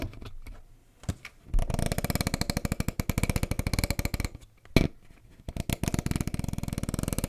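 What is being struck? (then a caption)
Plastic water bottle with plastic cap. Fingertips and nails tap and scratch around the green plastic screw cap and top of a clear, hollow Volvic plastic bottle of roughly 1.5 L that looks partly filled with water. A few isolated knocks lead into two long runs of rapid, even tapping with a brief louder knock between them. Each tap is dull, low-heavy and dies away almost instantly, with a faint scratchy rustle underneath.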